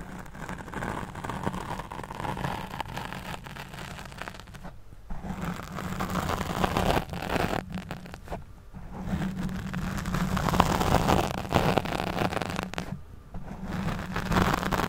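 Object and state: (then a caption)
Foam microphone windscreen being scratched. Fingertips and long nails scratch the top and sides of a black foam windscreen over a studio microphone. The result is a continuous, close, muffled rustling and scraping, heavy in the low end with a steady hum band. There are brief near-silent pauses around 5, 8.5 and 13 seconds.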